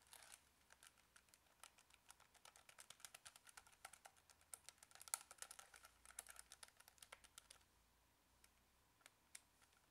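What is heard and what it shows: A small, hollow plastic Casio scientific calculator is held in one hand while the fingertips of the other hand tap its keys quickly, entering input that appears on its screen. The result is a quiet, rapid run of bright, dry plastic clicks with almost no ring, which thins out near the end into a few isolated taps.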